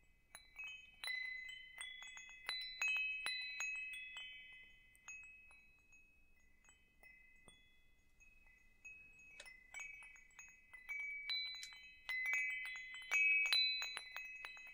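A hanging wind chime with hollow metal tubes and a wooden top is held by its hook while fingertips tap and jostle the tubes. Bright, high, overlapping metallic rings come in irregular clusters, fading to a quieter shimmer in the middle before busier tapping returns toward the end.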